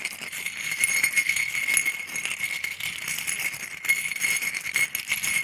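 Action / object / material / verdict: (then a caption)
tap / small scallop seashells on a ceramic plate / shell / none. About a dozen small, thin, hollow calcium scallop shells rest on a white ceramic plate while a wooden stick stirs and taps them. They clatter together in a continuous, bright, jingly rattle of quick, short clicks with no low end. The sound holds steady for the whole clip, with slight swells in loudness.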